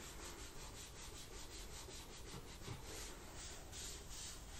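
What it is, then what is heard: Plastic laptop palm rest. A wipe is rubbed under fingertips along the black plastic palm rest edge beside the keyboard of an open laptop. It makes a steady, continuous swishing scrub with a bright, hissy texture and a soft low rumble underneath, with no separate hits.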